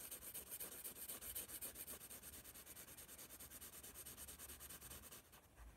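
A graphite pencil rubs and scratches rapid shading strokes across the paper of a spiral sketchbook held in hand. The result is a quick, steady rhythm of dozens of short, bright, hissy strokes with a faint low rumble beneath, growing softer and sparser in the last half second.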